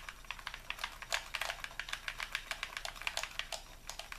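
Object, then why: Plastic game controller. A hollow white plastic Xbox controller is held in both hands while fingertips and thumbs rapidly press and click its buttons. About 29 quick, dry, bright plastic clicks sound in an uneven, typing-like rhythm over a faint steady hiss.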